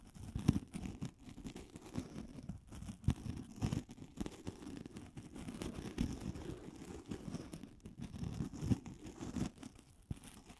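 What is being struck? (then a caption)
Polystyrene foam ball. A solid, hand-sized white polystyrene foam ball is held in both hands and scratched and tapped with long glittery acrylic nails. The result is a quiet, close, continuous run of dry, crunchy scratching and soft tapping, with energy concentrated in the low and low-mid range and very little high content. Brief taps stand out against the steady rasp.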